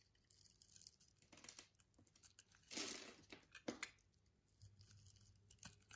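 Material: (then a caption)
Soap. A solid pink soap bar, held in the hand, has its scored surface scraped with a yellow-handled utility-knife blade into crumbly pieces. Bright, dry crackling and tearing scrapes come in uneven bursts, loudest near the middle. The scraping settles into softer crumbling at the end.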